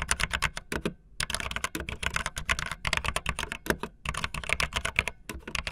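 Fingertips with long nails type fast on a backlit optical linear mechanical keyboard with white and blue plastic keycaps. Rapid, crisp, bright plastic clacks come in dense bursts, with a soft low thud under each keystroke. There are brief pauses just after the first and fourth seconds.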